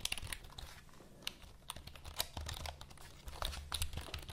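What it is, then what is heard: Plastic computer keyboard. Long nails tap and scratch across the keys of a black plastic full-size computer keyboard held vertically. Quick, sharp, bright clicks come in irregular clusters over a soft scratchy rustle and a steady low hum. Each tap stops almost instantly.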